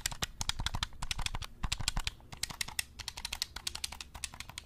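Fingertips rapidly click and tap the buttons of a black, hollow plastic game controller held close to the mic. Each press is a short, dry, bright click with a soft low thump underneath, coming in an uneven, quick stream.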